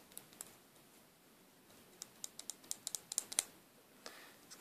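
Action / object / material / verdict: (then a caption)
tap / small metallic plastic lipstick case / plastic / none. Pink fingernails tap and click on a small, hollow, silver metallic-plastic lipstick tube with a clear red plastic cap. About thirteen quiet, sharp, bright clicks sound with almost no low end and die out instantly. Two come first, then a quick cluster follows after a pause, and a few more close the clip.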